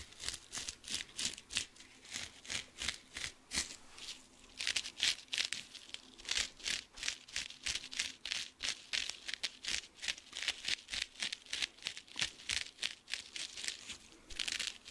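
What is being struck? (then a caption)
Cellulose sponge with scouring pad. Short nails rapidly scratch the rough scouring side of a dry blue cellulose kitchen sponge with a scrub pad, about three strokes per second at a slightly uneven pace. Each stroke is a bright, hissy, crinkly scrape concentrated in the high range, with almost no low end and a very quick fade between strokes.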